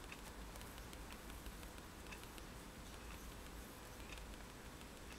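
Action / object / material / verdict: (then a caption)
tap / sheet of drawing paper tapped with a pen tip / paper / none. A fineliner pen tip taps repeatedly on flat white drawing paper lying on a table, making dots. The clip is a quiet, steady run of soft, light ticks with a faint bright edge, over a constant low hum.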